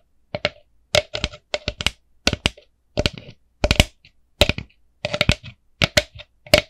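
Long nails tap and scratch a small, hollow, empty orange plastic jack-o'-lantern bucket with a black handle. The result is short bursts of quick, sharp, clicky taps with a bright edge and a hollow plastic tone in the mid range. Each burst dies away almost at once, with brief pauses between them.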